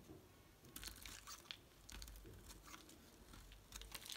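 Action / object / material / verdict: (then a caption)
scrape / bar of soap / soap / none. A utility knife blade shaves and carves a solid light green Palmolive bar soap, making a series of crisp, dry crunching and scraping strokes. Bright, papery shavings crackle over a faint low rumble, with each cut ending sharply and no ring.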